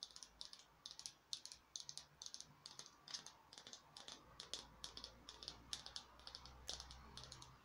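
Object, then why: Small foam craft pumpkin. A small glittery peach-colored artificial pumpkin, likely foam, is tapped rapidly with long nails. The result is a steady stream of dozens of quick, bright, dry clicks with almost no ring, set against a faint low hum.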